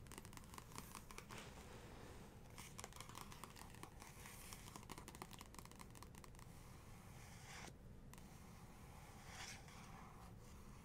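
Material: Paper.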